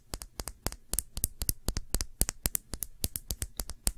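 A small Sephora glass nail polish bottle with a black cap, filled with dark polish, is held in the fingers and tapped with long nails. About 27 short, bright clicks come in an uneven, rapid rhythm, each dying away almost instantly over a faint low background.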